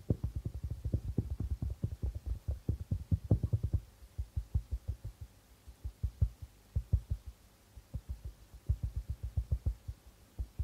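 Fingertips of both hands tap the white plastic membrane of a hollow darbuka drum. The result is a run of soft, deep, dull thumps that die away almost instantly. The taps come quickly and steadily for about four seconds, then turn quieter and sparser in short bursts with brief pauses.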